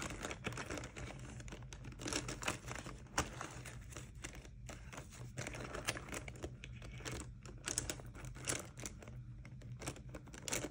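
A small clear plastic vinyl Mario Badescu cosmetic pouch with green fabric zipper trim is held closed in one hand and pinched between fingers with dark-painted nails, crinkling and squeezing the plastic. Dense, dry crackles and rustles with bright, sharp snaps repeat throughout over a faint steady low hum.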